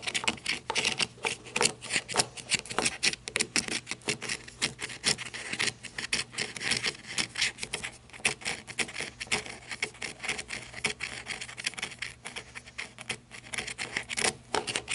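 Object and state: Flashlight grip scratched with fingernails.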